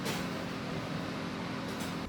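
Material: Nothing is struck.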